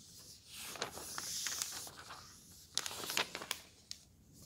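Fingers slide a thin paper page of an open road atlas between them and flip it. A soft, airy rustle swells and fades, followed by a cluster of crisp, bright paper crackles and ticks. The sound is thin and high with almost no low end.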